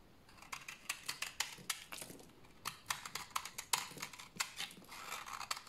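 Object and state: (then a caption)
Dry bar soap being shaved. A utility knife blade shaves a solid, dried brown bar of soap held in the hand, cutting off crunchy flakes. A quick series of short, dry, crisp scraping strokes sounds bright and rasping with almost no low end. Each stroke stops sharply, with no ring, against a quiet background.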